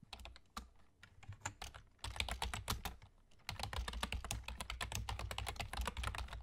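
Both hands' fingertips, with short nails, rapidly tap the hollow keys of a full-size black plastic computer keyboard with German key labels. Quick, dry clicks with a low thud come in uneven bursts, with brief lulls around 2 and 3.5 seconds, then settle into a steadier, denser run of typing.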